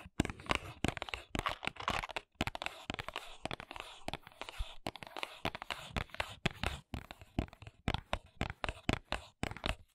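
Long nails scratch and tap the back and edges of a small, hollow paperboard press-on nail box held at an angle. The result is a quick run of short, dry taps mixed with scratchy, crinkly rasps. Each hit dies away almost instantly, with a faint hollow body under the bright scratching.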